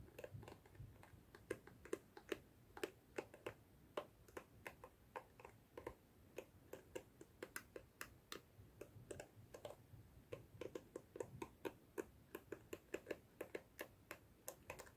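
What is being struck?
Plastic detangling hairbrush.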